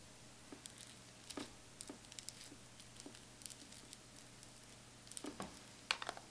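Long pointed acrylic nail tips tap and scratch the embossed chocolate-bar lid of a closed Too Faced Chocolate Bar eyeshadow palette, a hollow metal tin lying flat on fur. Quiet, sharp, bright clicks and brief scratchy ticks come in a scattered, irregular series, each dying away almost instantly over a faint steady low hum.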